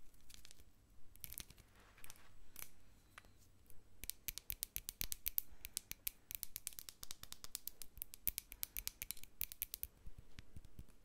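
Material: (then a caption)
Glass. A medium, hollow hobnail-textured glass jar filled with white bath salt, with a plastic spoon resting inside, is held in hand while long nails tap and scratch its bumpy outer glass. Sharp, bright clicking taps with short, dry scratches come sparsely at first, then in a rapid, dense patter from about four seconds on. The clicks are quiet and die away almost instantly.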